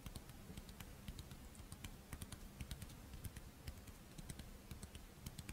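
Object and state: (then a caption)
Crisp rice wafer shell tapped with nails. Long painted nails scratch and tap the embossed surface of a hand-sized, Doraemon-shaped monaka, a crisp, dry rice-flour wafer shell with chocolate filling held in both hands. The result is a steady run of quick, dry clicks and taps with faint scratching over a low, muffled rumble.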